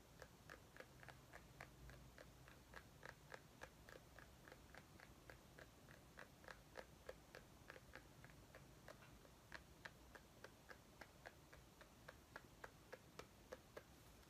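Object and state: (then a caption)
Mini pumpkin. A small white ribbed mini pumpkin, apparently solid and likely real though possibly decorative, is held in both hands and tapped and scratched with short dark-painted fingernails. About 40 quick, dry clicks with a hollow mid tone and a bright tick sound at an uneven pace of roughly three per second, each dying away almost at once over a faint, steady low hum.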